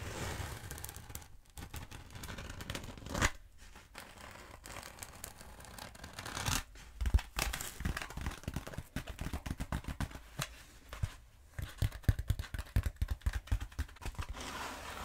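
Long nails scratch and tap the surface of a long black foam roller held upright or diagonally. The result is a stream of dry, scratchy rustling with soft low thuds, followed by quicker bursts of sharp, dull taps that stop with almost no ring.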